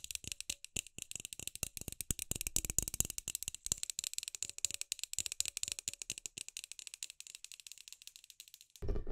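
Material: Plastic.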